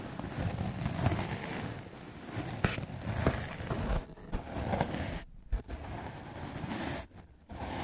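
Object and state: Melamine foam sponge being brushed.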